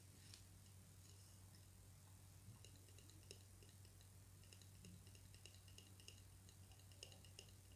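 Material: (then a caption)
Wood. Two slim, solid wooden drumsticks, held in the fingers, are tapped against each other, producing quiet, irregular clicking ticks. The dry, bright clicks ring around 2.9 kHz with a short decay, over a steady low hum that persists throughout.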